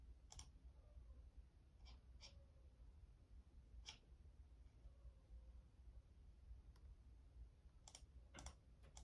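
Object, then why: Plastic membrane computer keyboard. A black full-size Logitech membrane keyboard with a hollow plastic body is tapped by fingertips in a typing motion. Soft, scattered plastic clicks with brief bright tops sound over a steady low hum, some keys struck in quick pairs.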